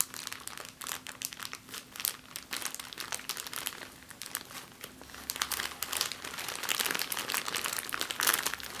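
A small, thin, empty clear plastic bag is crumpled by fingers with long painted nails on a wooden table. It makes a dense, continuous crinkling and crackling that is mostly bright and high with very little low end, with short sharp crackles throughout that grow louder toward the end.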